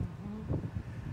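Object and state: Nothing is struck.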